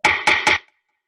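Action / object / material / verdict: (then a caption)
knock / wooden table / wood / none. Three quick knocks on a wooden table, made to compare its sound with a book and glass and show that materials of different density sound different. Each knock is a short, dry rap with a tone around 850 Hz that dies away within a fraction of a second.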